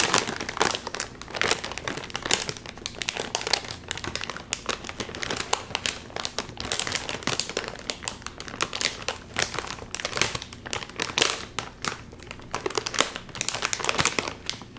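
A full Doritos chip bag made of crinkly metallized plastic film is held in both hands while the fingers crinkle and tug at its sealed top. The result is a steady stream of sharp, bright crinkling and crackling bursts that never stops, with the bag staying sealed.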